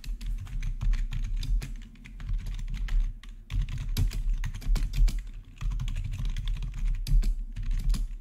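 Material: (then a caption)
Plastic. Fingertips rapidly type on a black plastic RGB backlit gaming keyboard with a hollow housing. The result is a dense stream of quick, clacky key taps over a hollow, low thump from the plastic body, with brief lulls between bursts.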